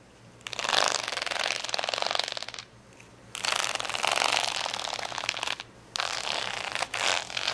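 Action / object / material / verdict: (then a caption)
scrape / acrylic rhinestone sticker sheet / acrylic plastic / none. Fingernails scratch across a large, flat plastic sticker sheet of rainbow acrylic rhinestones. The result is a dense, bright, gritty rasping that comes in three long scratching bursts separated by short pauses.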